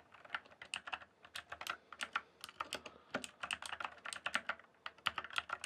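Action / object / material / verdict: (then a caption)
tap / plastic computer keyboard / plastic / none. Fingertips type and tap on the solid keys of a full-size backlit plastic RGB computer keyboard, a Cyberpowerpc Skorpion K1, resting on a dark surface in dim light. A quick, irregular stream of dry plastic clicks is heard, each dying away almost instantly, centered around 1.4 kHz with bright, high edges and no low thump.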